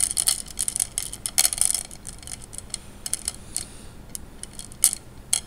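Fingertips rub and spread glass gems in a wet tray of water, making them clack together. The result is a scattered run of short, bright clicks with almost no ring, clustered at the start and then sparser, over a soft hiss.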